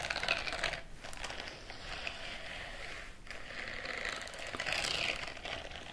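Fingertips and the palm of one hand rub and scratch across the bristled surface of a white silicone scrubbing glove worn on the other, raised hand. The result is a steady, bright, crackly scratching that swells and fades, with brief pauses near one second and just past three seconds.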